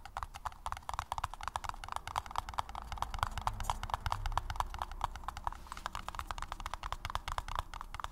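A paper cup is tapped rapidly and steadily for about eight seconds, making quick, hollow, clip-clop-like knocks with very short decay. Each tap has a bright midrange click over a soft low rumble.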